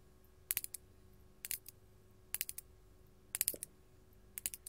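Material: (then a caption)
Glass. Long gold metal claw nails tap a large solid faceted purple glass crystal held in the hand. Fourteen sharp, bright clicks come in five quick clusters, each dying almost instantly over a faint steady hum.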